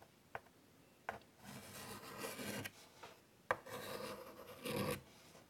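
White chalk held in the fingertips scratches detailed curly lines on a large wood-framed chalkboard. Short sharp taps of the chalk touching down alternate with two longer stretches of dry, gritty rasping strokes. The scratching is bright and textured, rising and falling as the lines curve.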